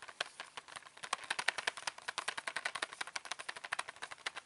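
A flat printed cardboard box holding 36 colour pencils, hollow and full of pencils, is held up and rapidly tapped and scratched with fingertips and nails on its printed back and front. The result is a quick, steady run of dry, bright clicks and scratches with no low end and no ring, fading instantly after each tap.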